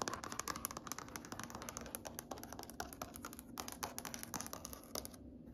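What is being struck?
Wood-grain floor.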